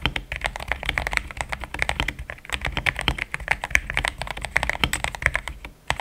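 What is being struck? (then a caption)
Plastic mechanical keyboard. Fast typing with the fingertips of both hands on a compact pink-white mechanical keyboard with thick plastic XDA keycaps, a polycarbonate plate and linear switches, resting on a desk mat. A dense, steady stream of short, bright plastic clacks with almost no ring, with a brief quiet gap just before the end.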